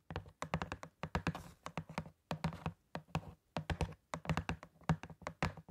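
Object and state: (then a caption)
Cardboard glove box. A small, hollow printed cardboard box of disposable gloves is held in hand near the microphone and tapped with long painted nails. Quick bursts of dull, hollow taps come in rapid clusters with short pauses between. Each tap has a low thunk, a light clicky edge and almost no ring.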